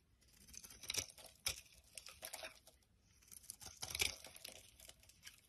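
A palm-sized solid brown bar of soap held in the hand is repeatedly shaved with a utility knife blade, curling off shavings. Quiet, bright, crisp scraping and crackling comes in two bursts of quick strokes with little low end, and each cut fades almost instantly.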